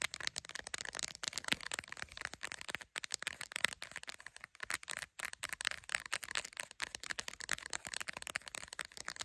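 Long pink acrylic nails rapidly tap and scratch the camera lens area and back of a smartphone in a clear plastic case held on a phone holder. A dense stream of sharp, dry clicks and scratchy strokes dominates the bright upper range with almost no low end. Each tap dies away instantly, with brief pauses breaking up the fast patter.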